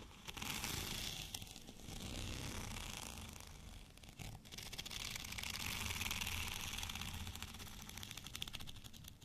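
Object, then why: Studded plastic rolling pin. Fingernails scratch along the bumpy cylinder of a white studded plastic rolling pin held at both ends. The result is a steady, dense texture of rapid, crackly clicks over bright hiss, with a soft low rumble underneath and slight swells and dips in loudness throughout.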